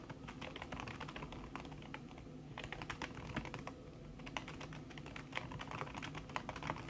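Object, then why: Aluminium keyboard with silicone key cover. A thin backlit aluminium keyboard with plastic keys under a red silicone skin is typed on fast with the fingertips and long red-painted nails. The result is a dense, continuous run of short, soft tapping clicks with bright attacks over a low hum.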